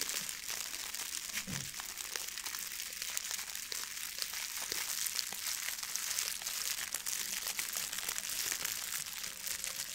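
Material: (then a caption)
Plastic foil. A blue metallic plastic foil ribbon gift bow is crinkled and squeezed with both hands. The result is a steady, dense, bright crinkling and crackling with many tiny sharp snaps that die away instantly, almost no low end, and a fairly even level throughout the clip.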